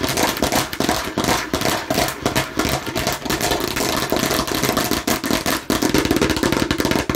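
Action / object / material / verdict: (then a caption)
tap / plastic toy watermelon slice / plastic / none. Fingers aggressively tap and scratch a plastic (fake) watermelon slice. Rapid, dense clicks and rasping scrapes run without a break, bright and crackly on top with a hollow mid-range plastic tone underneath.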